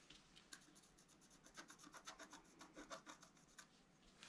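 A wooden stylus scratches across the coating of a flat scratch-art card of black-coated paper in continuous strokes. The result is a quiet, dry, bright rasping, made of a rapid run of short scratchy strokes with little low end.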